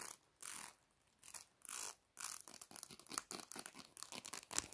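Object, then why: Plastic comb. Long black nails scratch rapidly across the teeth of a solid black plastic comb held upright in both hands. A few longer, bright, raspy swipes give way to a quick run of short, crisp scrapes. The sound is mostly high-pitched with almost no low end.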